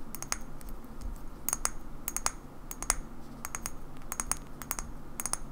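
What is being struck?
Small glass bottle tapped with fingernails.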